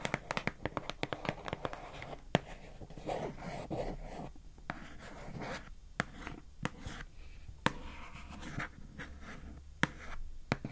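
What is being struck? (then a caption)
Plastic food container lid. Long acrylic nails scratch and tap the labeled lid of a pink plastic food container held upright. Many sharp, quick clicks with bright tops stand out over a steady soft scratching rustle. The clicks die away almost at once.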